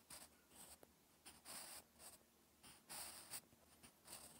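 A wooden graphite pencil scratches across a flat sheet of lined, textured writing paper while writing Korean characters. Quiet, bright, airy scratching comes in separate strokes of uneven rhythm, with brief pauses between them. About six distinct strokes stand out.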